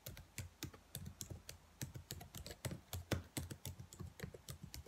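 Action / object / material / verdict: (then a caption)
tap / plastic laptop keyboard keys / plastic / none. Long white nails tap and type rapidly on the black plastic keys of a laptop keyboard, with both hands briefly resting on it. About 25 quick, crisp clicks are heard, each with a low thump and a bright tick that die away almost at once.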